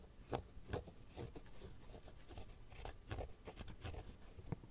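Fingernails scratch and tap the inside and rim of an empty red silicone phone case. Quiet, soft, dull taps with almost no ring are scattered through a steady low, muffled scratching and rubbing.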